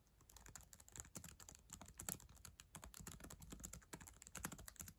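Long acrylic nails and fingertips type fast on the plastic keys of a black ThinkPad laptop keyboard, a solid device. A quick, dense run of sharp, bright clicks and clacks, each dying away almost instantly, sits over a soft low thump from the keystrokes.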